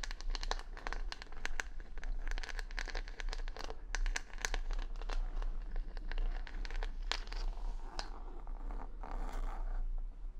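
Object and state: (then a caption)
Rhinestone-backed wooden hair brush being scratched. Long nails scratch across the plastic rhinestones on the back of a wooden hair brush, making dense, crisp clicking and crinkling ticks over a steady low rumble. The brush is then turned over the microphone with its wooden bristles facing down, and the scratching continues as softer, scratchier brushing.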